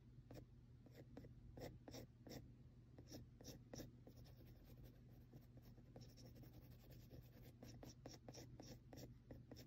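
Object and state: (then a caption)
Pencil marks on textured drawing paper. A mechanical pencil tip repeatedly taps and scratches small marks into the shading on a flat sheet of textured drawing paper. Quick, dry ticks and short scratchy strokes come in an uneven rhythm, each with a brief bright edge, over a steady low hum. The overall level stays quiet.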